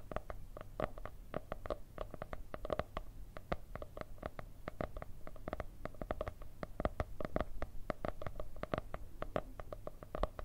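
A white marble-patterned hardcover notebook with gold veins and a cardboard cover is tapped and scratched with long red nails. Quick, dry, clicky taps with a mid-range knock around 600 Hz come in a fast, uneven stream over a steady low hum, with light scratchy brushing between them.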